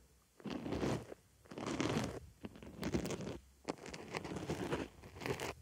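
A wooden stick scratches inside the hole of a white foam makeup sponge resting on a microphone ear. It makes dense, crunchy, scratchy bursts with a soft, muffled low-mid body. The bursts come in irregular strokes separated by brief quiet gaps.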